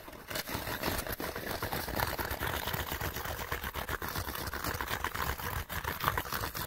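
A small, empty, hollow Panasonic light bulb box made of printed cardboard is held in both hands and scratched fast with fingertips and nails. The result is a dense, steady stream of dry, crackly scratching with a papery rasp and a hollow low rumble beneath it.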